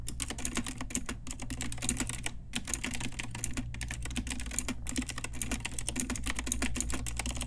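Long nails and fingertips type steadily on a pink Ajazz retro typewriter-style mechanical keyboard with round plastic keycaps. The result is a rapid, continuous stream of bright, sharp plastic clicks and clacks with a few brief pauses, over a constant low hum.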